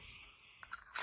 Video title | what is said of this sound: Advent Day Two! EXIT and Advent Calendars Galore! | you could hear it's Hollow